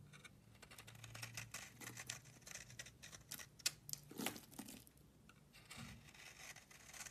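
A solid beige bar of soap held in the hand has its surface scraped with a metal utility blade, shaving off powdery flakes. Quiet, dry, bright scraping strokes follow one another in quick succession, with a few sharper crisp scrapes standing out near the middle.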